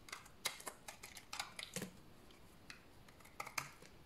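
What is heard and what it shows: A large, solid, dried tan bar of soap held in the hand is scraped with a utility knife blade. The result is a quick series of dry, crisp scraping clicks and short bright rasps with almost no ring. The clicks cluster at the start and end, with a quieter gap in the middle.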